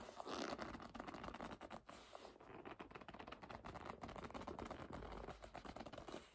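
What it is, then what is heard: Leather bag. Long nails rub and grip the leather surface of a hollow black leather bag that is lying flat and being held. The result is a quiet, continuous run of soft scratchy scrapes and muted squeaks, with many short rubs blending together.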